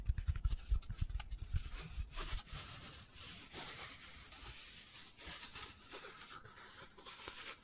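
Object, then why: Foam cylinder. Fingertips rub and scratch a hand-sized black foam cylinder held in both hands. Quick, dull, low taps come first, then give way to a steady, bright, scratchy rubbing that swells and fades softly.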